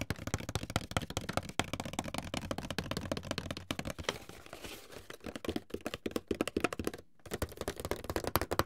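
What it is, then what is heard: Hollow cardboard box. A medium, closed, hollow white paperboard box is tapped with fingertips and short nails, first held upright and then laid flat. The result is a steady stream of quick, dry, hollow taps with a low thump. A soft scratchy rustle comes midway, and the tapping briefly pauses near the end before resuming.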